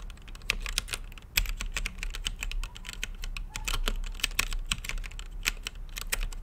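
An RGB-lit mechanical keyboard with plastic keycaps and a clear acrylic case is typed on with fingertips, producing a rapid, uneven stream of sharp, bright clacks. A steady low rumble sits beneath the short, dry key presses.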